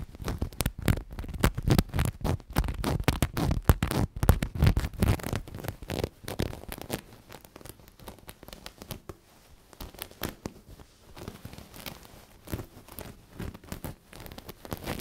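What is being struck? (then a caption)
Knitted fabric cushion with sequins. Fingers rub and scratch the sequin appliqué on a black knitted cushion held up off any surface, making dense, rapid scratchy rustles with a low, soft body. The scratching is louder and busier for the first six seconds, then settles into quieter, sparser rubbing.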